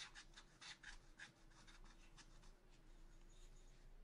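A wooden stylus scratches back and forth across a black-coated scratch art paper sheet in a spiral notebook. The quiet, dry rasping strokes come in short bright bursts over a steady low hum and a faint constant tone.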